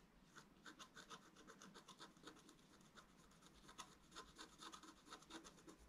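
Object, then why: Wax-coated scratch-art paper sheet scratched with a wooden stylus. A wooden stylus rubs and scratches across a thin, solid, flat black wax-coated scratch-art card. It makes a quiet, dry, bright rasping in a steady run of short back-and-forth strokes, each fading almost at once.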